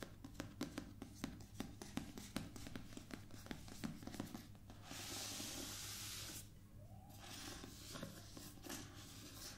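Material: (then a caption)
Cardboard. Long painted nails and fingertips scratch and tap across the embossed cover of a solid, medium hardcover paper book lying flat on a table. Quick, sharp taps and scratchy strokes fill the first half. Then a steady bright rasp of scraping sweeps across the cover, followed by softer rubbing.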